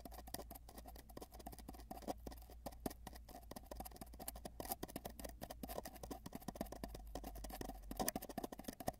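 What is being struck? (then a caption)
Spiral-wound cardboard tube. Fingertips at both ends of a long, hollow, spiral-wound cardboard tube with a microphone inside tap it rapidly. The result is a dense, continuous patter of short, dry taps, each with a hollow resonant tone around 630 Hz that dies away almost instantly. A steady low hum runs underneath, and the tapping grows slightly louder and more scattered toward the end.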